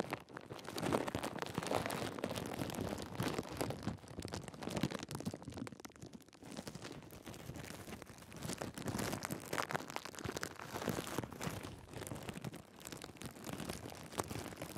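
A thin, clear plastic bag draped over the top of a Sony A7s mirrorless camera is crinkled with fingertips against the camera body, right at the built-in microphones. The result is a steady, dense crackle and rustle that swells and eases in waves for the whole clip, with no pauses between the crinkles.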